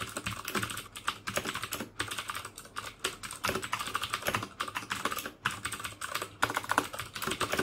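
Fingertips type steadily on a black plastic mechanical keyboard with clicky Cherry MX Blue switches. The result is a rapid, continuous run of crisp, bright clicks and clacks with very little low end and a quick decay after each keystroke.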